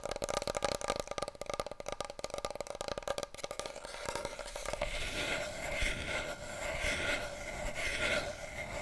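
A wide, hollow, empty cardboard paper roll tube, held horizontally and then upright, is tapped rapidly with fingertips and nails for the first few seconds, giving dense, drum-like hollow hits with a resonance around 570 Hz. The tapping then gives way to a smoother, swelling scratchy rustle with bright upper tones.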